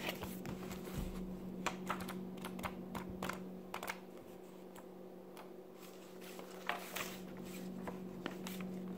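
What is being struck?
Thin glossy paper magazine.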